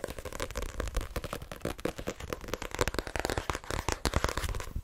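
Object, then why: Paperback book with card cover. Long dark-green nails rapidly tap the front and back card covers of a solid cream "Assassination Classroom" paperback held in the hands. The result is a fast, continuous run of short, dry, papery clicks with a low thump beneath them.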